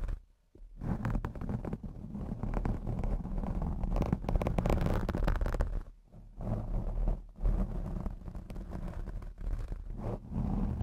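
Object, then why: Foam microphone windscreen. Long blue acrylic nails on both hands scratch across the black foam windscreen of a Blue Yeti X microphone. The result is a continuous, muffled, rumbling rustle concentrated in the deep low end, with short pauses near the start, around the six-second mark, and just past seven seconds.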